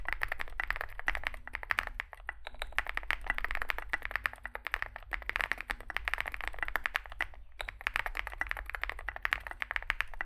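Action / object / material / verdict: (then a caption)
tap / mechanical keyboard with plastic keycaps / plastic / none. Fingertips type continuously on a Zoom65, a small 65% mechanical keyboard with a dark case and white and grey SA plastic keycaps. The keystrokes come as a rapid, dense stream of short, bright clacks with very little ring. Brief pauses occur around 2, 5 and 7.5 seconds over a steady low hum.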